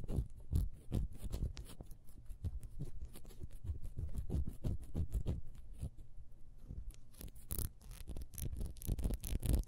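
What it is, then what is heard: Ribbed wax candle being scratched. Long nails scratch fast across the ridges of a small, solid, ribbed wax beehive candle held in the hands. The result is quiet, rapid, irregular scraping and patting, low and thumpy with brief, bright crackly edges.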